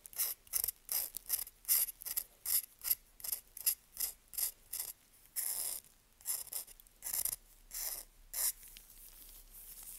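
A knife blade scrapes about two dozen times across the face of a solid, dry, pale yellow-green bar of Svoboda "Green Tea" toilet soap held in a gloved hand, shaving off fine curls. Each stroke is a short, crisp, bright rasp with a ratchet-like crunch and almost no low end, coming in a loose, uneven rhythm. The scraping stops and only a faint hiss remains at the end.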